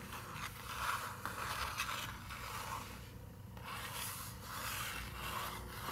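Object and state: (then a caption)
Paper book page being scratched. Long nails scratch across the paper page of an open picture book with a tree illustration. Steady, dry rasping strokes carry a bright, hissy edge, easing briefly at the midpoint before scratching resumes.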